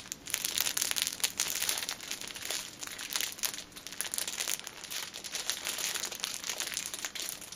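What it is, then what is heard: Plastic-wrapped pack of pocket tissues. A palm-sized six-pack of paper pocket tissue packs in a thin plastic film wrapper, soft and solid with the paper inside, is held upright in both hands while long painted nails tap and scratch the film on its front and top. Dense, bright crinkling and crackling runs throughout the clip, peppered with quick, dry taps that stop dead with no low end or ring.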